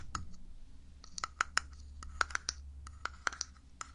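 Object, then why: Small glass jar with plastic lid. Fingernails tap and scratch on a small glass pudding jar with a black plastic lid, held close to the mic, hitting both the lid and the glass sides. A series of short, dry clicks with a bright edge and no ring rises over a faint scratching rustle and a low, steady hum.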